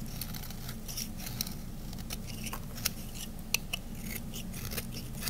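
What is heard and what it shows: A small metal blade shaves the edges of a solid cream-colored bar soap, dry to semi-dry, held in the fingers, in short strokes. Crisp, bright scraping ticks and brief shaving rasps sit over a steady low hum, with a few sharper clicks standing out.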